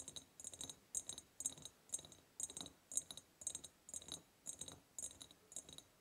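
Long purple nails tap the upper sides of a large, hollow, ribbed clear glass jar. The sound is a quick, uneven run of light, bright clicks with a faint glassy ring. The clicks come in short clustered bursts about twice a second.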